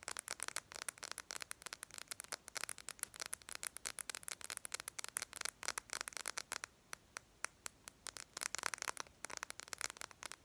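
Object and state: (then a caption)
Glass phone screen tapped with fingernails. Long painted lavender acrylic nails tap fast on the glass touchscreen of a handheld smartphone in a case with a yellow-green edge, held up with the screen facing out. A rapid, dense run of sharp, bright clicks from the nail tips, with a few brief pauses and possibly some light scratching, each click dying away almost instantly with no low-end body.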